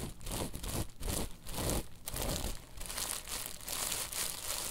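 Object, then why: Woven tapestry fabric pillow. Long nails quickly scratch and tap a woven tapestry bolster pillow, producing dense, rough, crinkly scratching in rapid bursts. The sound is broadband with bright, hissy texture over a steady low rumble, and each stroke dies away quickly.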